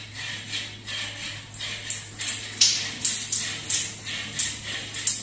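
A medium grey hollow plastic shampoo or shower gel bottle, likely partly full, is held in one hand in a shower and tapped with the long painted fingernails of the other hand. About ten bright, clicky taps sound over a constant high hiss and a steady low hum, each tap ringing only briefly.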